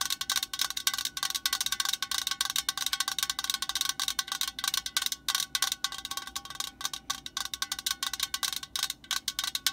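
Long nails on both hands tap rapidly on the metal body of an aerosol spray can, close up. A quick, steady run of around 48 short, bright metallic ticks, each with a faint chime-like ring, with almost nothing in the low end.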